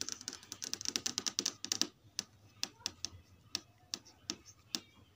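Long red acrylic nails tap and trace across the smooth, hard plastic/glass panel of a large flat Samsung LED TV screen showing a static menu. A rapid burst of sharp, bright clicks with almost no ring gives way to slower, evenly spaced taps.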